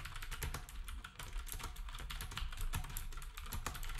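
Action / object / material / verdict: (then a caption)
tap / plastic computer keyboard / plastic / none. Fingertips of both hands type quickly on a black compact wireless plastic typewriter-style keyboard with round plastic keycaps and a hollow housing, while a nearby RGB keyboard and numpad stay untouched. A steady stream of short, crisp keystrokes is heard, each a bright click over a hollow low thump, dying away almost instantly.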